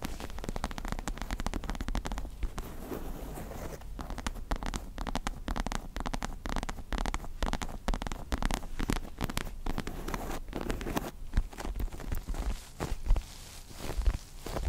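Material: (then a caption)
Faux leather. Long nails scratch and tap a small stuffed star-shaped pillow with a white and pink faux leather cover, held in both hands. The result is a dense, steady run of soft scratches and quick, dry taps that stop short. The sound is low and muffled, with little brightness.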